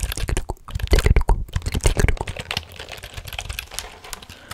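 A black plastic computer keyboard is held vertically close to the microphone while fingers type and tap on its keys. The result is a rapid, irregular stream of short clicks and taps with a heavy low-end thump. The tapping is loudest in the first half, then settles into softer, quieter typing.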